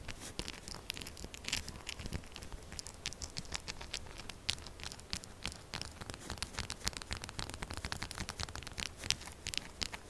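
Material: Soap.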